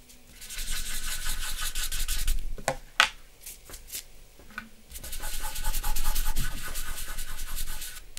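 Fingertips and the flat of a hand rub across a large sheet of white drawing paper with a charcoal portrait, lying flat on a dark backing board on a wooden desk, blending the charcoal. A bright, airy, continuous rubbing hiss runs for about two seconds, quiets to soft scratches with a single sharp tick, then swells back into steady rubbing until the end.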